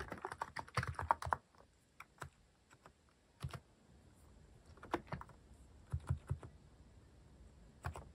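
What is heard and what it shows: Fingertips type on a mechanical keyboard with plastic cat-shaped keycaps, including the paw keycaps. A fast flurry of short, clacky keystrokes opens the clip, then scattered single and paired key presses follow with quiet gaps between them. Each press is crisp and dies away almost instantly.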